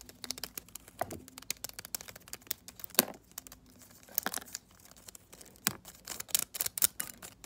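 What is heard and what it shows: A hand-sized, dense bundle of dried white sage leaves bound with string is held in one hand and scratched and tapped with long decorated acrylic nails. Quick, dry crinkling scratches and sharp clicky taps come in irregular bursts, mostly bright and high with little low end, and the louder taps stand out around the middle and end.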